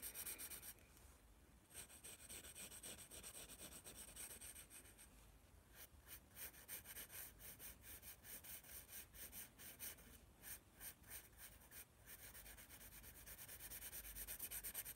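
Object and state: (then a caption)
Paper sketchbook, pencil strokes. A graphite pencil scratches and rubs strokes across the paper of a spiral paper sketchbook near the letters, making a soft, bright scratching texture. Short rhythmic strokes come in quick bursts with brief pauses in between, and the sound stays quiet and close throughout.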